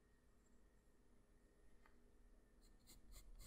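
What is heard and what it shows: The graphite tip of a black wooden pencil, held in the fingers, draws short scratching strokes across a flat sheet of white drawing paper resting on a hard surface. The clip is quiet, with a steady low hum underneath. Faint, bright scratches come in brief bursts that grow louder and more frequent toward the end.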